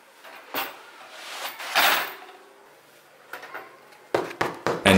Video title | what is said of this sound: How to make a german bread yourself - German spelt flour bread | this hollow noise is exactly what we want to hear after finishing baking a bread that means the bread is done baking